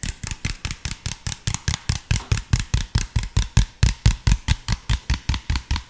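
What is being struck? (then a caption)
Plastic soda bottle. An empty, hollow, clear plastic (PET) soda bottle with an orange cap and label is tapped with fingertips while being rotated in front of the mic. It gives 29 quick, hollow, thumping taps in a steady rhythm, each with a deep low body, a bright click on top and almost no ring afterward.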